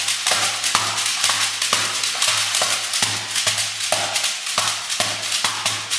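A large, head-sized hollow dried-gourd shekere covered in a net of colored beads is held in both hands, shaken, and slapped on its base with the palms and fingers. A bright, dense, hissing bead rattle runs throughout, punctuated by repeated sharp accents in a steady rhythmic pattern.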